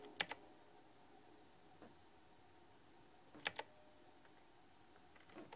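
Fingertips with short nails tap keys on a pink flower-themed, full-size, backlit, typewriter-style plastic retro mechanical keyboard with round chrome-rimmed keycaps, resting on a fuzzy mat. Sharp, bright clacks come in quick pairs and singles with short gaps between them, each dying out almost instantly over a quiet, faint hiss.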